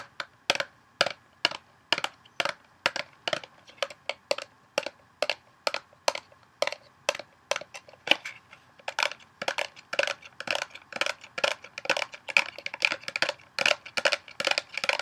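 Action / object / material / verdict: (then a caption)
tap / small cardboard soap box / cardboard / none. A small printed Dove cardboard box, apparently still holding its soap bar, is handled, tapped and shaken with long nails and fingertips. Dozens of short, dry, bright taps and crinkly cracks come in a steady rhythm, growing denser and slightly louder toward the end, with almost no low end and no ring after each hit.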